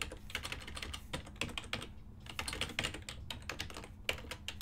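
Fingertips type continuously on a full-size ergonomic silver and black plastic desktop keyboard with hollow key switches. Rapid, bright clicky keystrokes come in an uneven stream with short, dry decays, a few louder strikes standing out, over a faint low steady hum.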